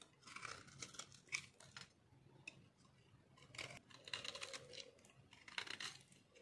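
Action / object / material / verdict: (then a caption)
scrape / bar of soap shaved with a metal blade / soap / none. A solid pink-orange chunk of dry bar soap, held in the hand, is shaved with a metal blade. Repeated bursts of crisp, bright scraping and crunching come with quick, dry cuts that stop almost at once. Quieter pauses fall between the strokes.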